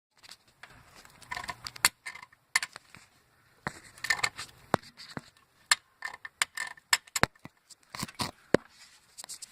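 A loose metal engine bracket under a '99 Cobra engine rattles, making the tapping, knocking, ticking noise. Irregular bursts of sharp, dry, bright metallic clicks and rattles come in quick clusters with short gaps and almost no ring. The loose bracket is the source of the noise.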